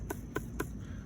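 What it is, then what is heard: Hard, woody dried potato stem. Three short knocks on the dried, viney stems of harvested potato plants give dull, hollow taps. The stems are hard and sound woody, like knocking on wood.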